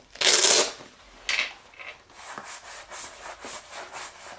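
A wooden-backed bristle brush is rubbed over the flap and pocket of a medium, soft black leather shoulder bag resting on a wooden chair. A loud, bright, hissing sweep opens the clip, followed by a shorter second stroke. Then comes a steady run of quicker, softer brushing rubs, all high and airy with almost no low end.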